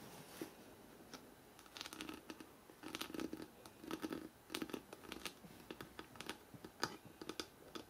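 Fingertips and short nails scratch and tap the stacked paper page edges on the fore-edge of a thick, closed hardcover book held upright. It makes quiet, dry, rapid clicks and bright rasping scratches in uneven bursts. A soft papery body sits under them, and nothing rings on after each touch.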